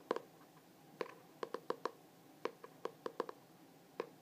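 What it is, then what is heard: Hardcover journal cover tapped. A glossy hardcover journal with a Starry Night print is held in both hands while fingertips and nails tap quickly across its cover. About fourteen short, crisp taps are heard, each with a hollow tone near 470 Hz that dies away almost instantly. The taps come in irregular bursts against a quiet, steady background.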